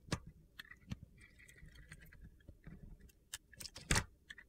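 A metal box-cutter blade carves and shaves pieces off a solid, dry white soap bar with black glitter edges, held in the hand. It produces a series of sharp, crisp cutting and scraping clicks, with a brief thin scrape between some cuts, over a faint low rumble.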